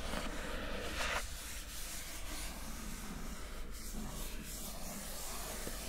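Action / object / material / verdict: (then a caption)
scrape / glossy coated cardboard lid / coated cardboard / none. Long nails rub, scratch and tap across the coated surface of a square, glossy printed cardboard lid. The result is a quiet, steady, dry rustling scrape with a low rumble underneath, and one brighter, louder scratch near the start.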